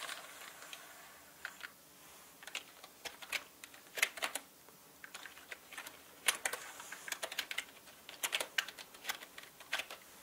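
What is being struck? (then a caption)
Plastic mechanical keyboard. Fingertips of both hands type on a full-size black plastic mechanical gaming keyboard with plastic keycaps on a plastic and metal body. Irregular bursts of sharp, bright key clicks and clacks come at uneven speed with short pauses, each click dying away almost instantly with no low-end thump.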